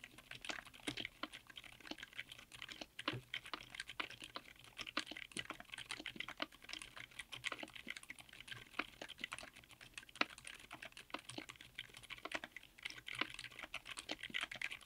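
A 60% mechanical keyboard with Outemu Silent Yellow Jade silent tactile switches, white and grey GMK double-shot ABS Cherry-profile keycaps, an FR4 plate and an aluminum case is typed on quickly with the fingertips of both hands. The result is a steady stream of soft, muted, bright key clicks with very short decay and almost no low end.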